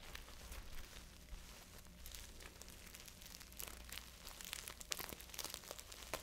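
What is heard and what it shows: A small, hollow, flat multicolored beaded fabric purse with dense bead clusters is held in both hands while fingertips and long nails scratch and rub across the beads. The result is a quiet, continuous crinkly rustle of bright, sharp clicks and scrapes over a steady low hum.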